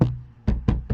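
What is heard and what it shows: Four taps on the window glass of an economy car's door give low, hollow knocks that ring briefly and rattle through the door, with almost all the energy below 200 Hz. The door is noisy even with extra soundproofing fitted, because the car's body is too flexible and everything vibrates.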